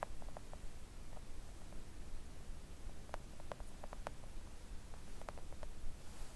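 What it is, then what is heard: Silicone mat tapped with nails. Long acrylic nails gently tap a thin, solid, flat pink silicone nail art mat. The soft, short clicks come in scattered clusters with almost no ring, over a quiet, steady low rumble.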